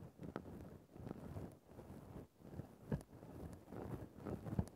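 A thin bamboo ear-pick held in the fingers scrapes and pokes at a grey faux-fur synthetic microphone windscreen. The result is a soft, muffled, low-heavy rustling and scratching, broken by occasional sharper pokes.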